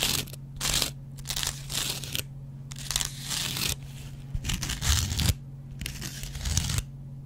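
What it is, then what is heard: Cellulose kitchen sponge scraped with a blade. A metal double-edge razor blade scratches the yellow cellulose foam of a hand-sized, dry kitchen sponge with a green scrub layer. Repeated bursts of bright, dry rasping alternate with short quiet gaps over a steady low hum.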